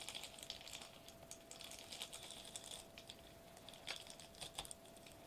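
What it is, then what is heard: Foil bubble wrap sheet. Knuckles and fingertips of curled fists knock and tap a flat sheet of silver metallized plastic bubble wrap lying on a white table. The result is quick, irregular, bright crinkly ticks and taps that cluster in bursts over a faint steady hum.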